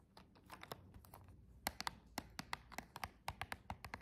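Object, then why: Cardboard box with clear plastic window. Long jeweled nails tap on the side and front of a flat silver cardboard box with a clear plastic window. They make a quick, uneven series of short, dry, bright clicks that stop almost at once, each with a hollow tone around 790 Hz. The taps are quiet at first and grow sharper and more distinct as they go on.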